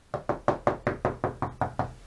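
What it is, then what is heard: Hollow plasterboard between studs. Knocking on a plasterboard stud wall between studs: a steady run of ten quick, hollow knocks with a midrange tone that die away almost at once. The spot sounds hollow, meaning there is no stud behind it.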